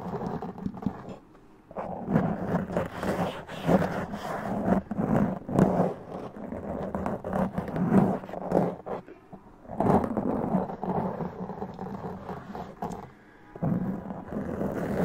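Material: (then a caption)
Foam. Long press-on nails scratch a black foam windscreen on a large condenser microphone, ending with a two-handed grip-scratch. The result is dense, rumbling, crackly scratching concentrated in the low and mid range, with a few brief pauses between bursts.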